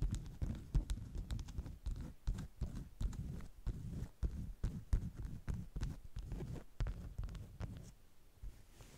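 Long nail tips tap the surface of a flat stack of beeswax-coated cotton wraps in a steady, irregular series of quick taps. Each tap lands as a dull, muffled low thump with a faint bright click and almost no ring.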